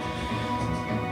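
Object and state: Nothing is struck.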